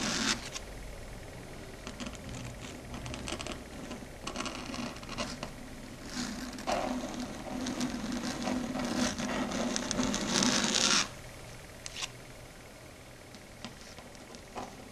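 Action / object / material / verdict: tap / chalkboard surface tapped with long fingernails / slate / none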